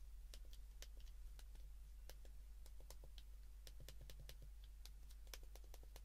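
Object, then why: Plastic flip phone keypad. A white plastic flip phone held in the hands has its keypad buttons pressed repeatedly with a thumb and fingertips. Quiet, short, bright clicks come in an irregular rhythm over a steady low hum.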